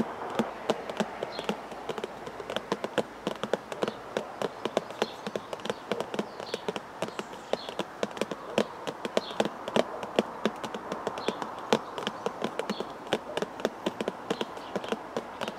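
A small, hollow, red printed cardboard tea bag box is held in one hand outdoors in a garden and tapped rapidly with the fingertips. Dozens of quick, dry, hollow taps sound in an uneven stream, centered in the midrange with almost no ring.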